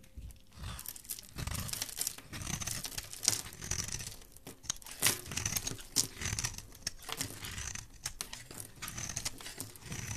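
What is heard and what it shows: A solid white Dalan Therapy bar soap, held in the hand, is shaved with a metal blade. Each stroke gives a dry, bright scraping crunch, like crinkling paper. The strokes run back to back in an uneven, continuous stream at a quiet level.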